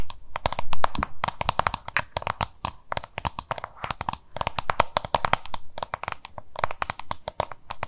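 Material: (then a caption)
Plastic. Long nails tap and scratch the labeled face of a small, hollow, oval yellow-green plastic lunch box held in both hands. Rapid, sharp, dry clicks come in dense bursts, each dying away almost instantly, with brief scratchy rustles between them and a faint low hum underneath.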